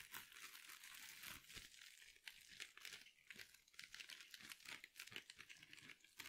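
A hand-sized soft sponge wrapped in glittery mesh is scratched and crinkled with long nails. The result is a steady stream of fast, bright crinkling and scratching with many quick, dry bursts and almost no low end.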